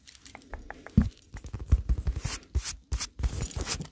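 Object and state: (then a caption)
Foam squishy bottle, tapped and scratched. An unwrapped, hand-sized milk-bottle-shaped squishy made of solid polyurethane foam with a painted surface is held up in the hands and tapped and scratched with long nails. Soft, dull taps with low thuds come first, then give way to bright, rasping scratch bursts across the foam's surface.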